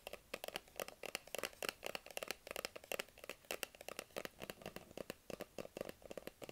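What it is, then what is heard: Cardboard phone box, tapped and scratched. A small, hollow white cardboard Apple iPhone box, held in both hands, is tapped and scratched with fingertips and nails. A steady run of quick, dry taps and light scratches sounds, each dying almost instantly, with a bright papery click near 2.7 kHz and a hollow knock around 500 Hz.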